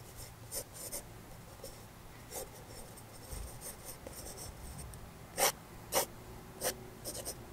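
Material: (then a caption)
Paper. A black wooden graphite pencil held in the fingers draws short lines on the thick white drawing paper of an open sketchbook lying flat on a table, sketching a portrait. Soft, continuous scratching of graphite on paper is broken by eight brighter, sharper stroke bursts, the loudest coming near the end.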